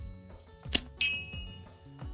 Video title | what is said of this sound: Making a Survival Slingshot with Found Items. | you can hear it rings at with authority